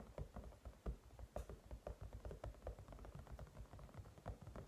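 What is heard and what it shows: Fingertips and short nails of both hands tap quickly all over the top and sides of a hand-sized white silicone cat night light with pink ears and stripes and a matte shell, lying on a table. The result is a quiet, rapid patter of soft, dull, low thuds with faint clicks, each dying away almost instantly.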